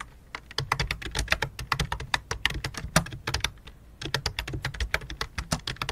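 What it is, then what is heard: Plastic computer keyboard. Fingertips type fast on the keys of a full-size white and light-blue plastic computer keyboard with a hollow plastic body. A dense run of short, clacky taps with a bright top and a hollow low thump, each stopping almost at once, pauses briefly before the typing resumes.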